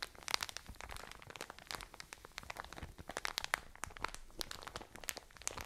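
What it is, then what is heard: Plastic bag of cotton wool. A full plastic bag of cotton wool is squeezed and scratched with long nails. It gives a steady stream of bright, dry crinkling and crunching, with many sharp, quick clicks and scratches that stop instantly with no ring. The plastic rustle stays close and crisp throughout, with little low-end weight.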